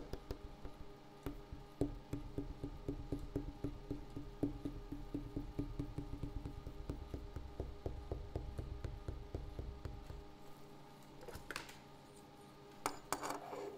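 A wooden table surface is tapped in a steady run of short, dry, woody knocks with a low body and very little ring. The tapping goes on for about ten seconds, then a brief pause, then a few louder, brighter taps near the end.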